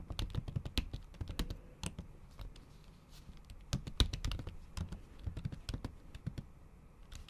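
Long acrylic nail tips type in repeated taps on a MacBook keyboard covered by a pink patterned plastic/silicone cover, with solid keys under the thin cover. Quick, dry clicks with a soft low thud and bright ticking tips come in irregular bursts, pausing briefly in the middle before picking up again.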